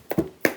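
A customer's roughly one-year-old leather baseball glove, in for a retouch, is tapped three times, giving short, sharp taps with little ring. The glove is stiff and hard, made from stiff leather, and its sound differs sharply from a soft, supple Kubota glove.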